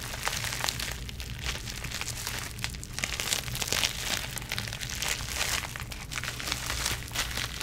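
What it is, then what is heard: Plastic bubble wrap. Long nails scratch and squeeze clear plastic bubble wrap wrapped around a small product box, producing a steady, bright crinkling with dense crackling bursts. The texture stays continuous throughout with no distinct separate hits.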